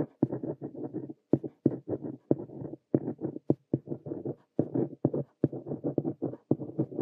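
A plastic ballpoint pen, held by the fingertips, scratches across a lined notebook page resting on a desk while writing. The result is a steady run of short, dry scratching bursts, each opening with a sharp tap. The sound is soft and muffled, with energy mostly in the low and middle range and brief pauses between the written strokes.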